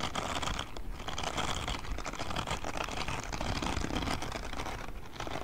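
Fingertips scratch and brush the silicone bristles of a grey silicone spiky scrubbing glove held close to the microphone. The result is a dense, steady crackle of rubbery scratching and rustling, heavy in the low end with a fainter bright hiss. It continues almost without pause, easing briefly twice before picking back up.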